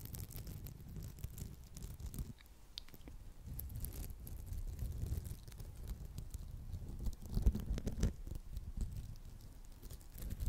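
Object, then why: Red polymer foam sponge. Long acrylic nails scratch close to the mic across the surface of a round, palm-sized, textured red polymer foam sponge with a smiley face, which is solid. The result is a soft, continuous patter of muffled, low-heavy scratching with quick crackly scrapes and a few brief, brighter ticks. It stays quiet throughout, swelling slightly near the end.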